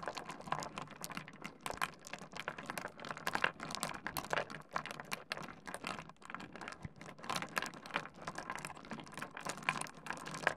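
Fingertips of both hands scratch and shuffle a pile of small solid stone pebbles on a wooden desk. The stones knock together in a dense, continuous patter of short, bright clicks and rattles with very little low end. It goes on steadily for about ten seconds, with no pauses.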